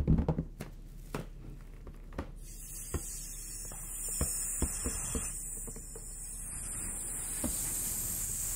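An inflated, large, hollow, air-filled bronze metallic latex balloon is held close and tapped and rubbed with the fingertips. A quick cluster of soft, low, hollow thumps is followed by scattered single taps. From about two and a half seconds on, a steady bright, hissy rubbing sound continues underneath to the end.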